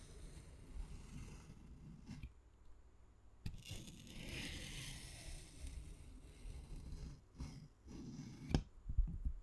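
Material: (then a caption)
Plant leaf. A small utility-knife blade scores long lengthwise lines into the skin of a large, thick, solid, fleshy green aloe vera leaf lying on a wooden cutting board, held flat by fingertips. Quiet, low, moist scraping and crunching runs throughout, with a brighter hissing scratch in the middle. A few sharper, louder crisp clicks come near the end.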